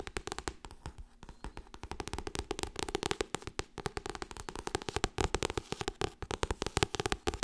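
Fast tapping on the softcover paper book "Getting Things Done" makes about 56 short, dull taps in quick succession over 7.5 seconds. Each tap has a papery thud centered around 380 Hz and dies away almost instantly. The rhythm is uneven, with some taps landing harder than others.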